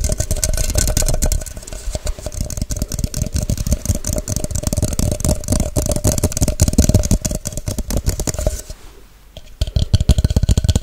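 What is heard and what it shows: An empty clear plastic measuring shaker bottle with measuring marks and a white cap is tapped fast with long acrylic nails. The result is a dense, rapid stream of short, bass-heavy taps and clicks with a faint steady ring around 600 Hz. The tapping briefly fades near the nine-second mark, then resumes at full intensity.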